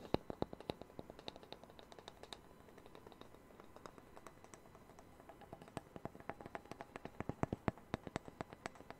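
A small, thin, solid round wooden disc, the sound-hole cutout from a Taylor guitar used as a coaster, is held in one hand and tapped with fingertips and nails close to the microphone. Rapid, dry, woody taps and sharp nail clicks follow one another with almost no ring, softening through the middle before growing busier and louder again toward the end.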